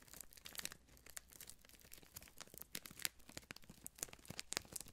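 A long, thin, clear cellophane-like plastic wrapper strip with printed labels, light and hollow, is held up close and crinkled and twisted between fingertips with blue-painted nails. The result is a quiet, continuous run of dense, bright crackles and sharp snapping clicks that cut off instantly, with almost no low end.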